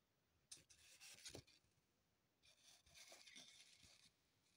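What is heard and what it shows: A small, solid, unwrapped green floral foam block resting on a table is scratched and rubbed with long pointed acrylic nails. Two bursts of dry, bright scratching and scraping are heard, the first around half a second to one and a half seconds and the second from about two and a half to four seconds, separated by a quiet pause.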